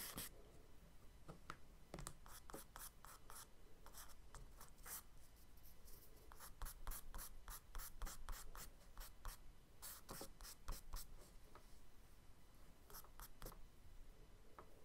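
A charcoal stick drags and scratches strokes along the lower part of a scuba diver drawing on a kraft paper spiral sketchbook page. Quick, irregular bright scratchy rasps repeat throughout, each a short, dry stroke over a low, steady background hum. The sound stays quiet and close.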